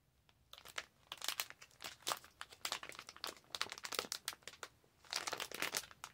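A clear/white plastic resealable zip pouch is held up and crinkled and scratched with long acrylic nails. After a brief quiet start, dense, bright, crackling crinkles and short scratchy bursts fill the clip. There is a short lull near the end before a final louder run of crinkling.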